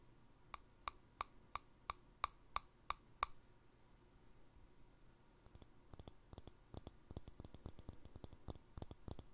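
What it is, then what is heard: Glass jar with plastic lid, tapped. A small empty clear glass jar with a green plastic lid is tapped with fingertips and nails on the lid top and the glass wall. Nine evenly spaced, sharp, bright clicks with a short ring near 1.1 kHz come first, followed by a brief quiet pause. Then comes a quicker, irregular run of softer taps with duller low knocks.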